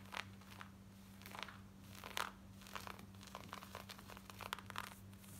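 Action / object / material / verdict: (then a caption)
scrape / cotton denim jeans / denim / none. Long white nails scratch fast at the back waistband and pocket of black cotton denim jeans worn on the body. Quick, dry, crinkly scratching bursts come in uneven clusters over a steady low hum.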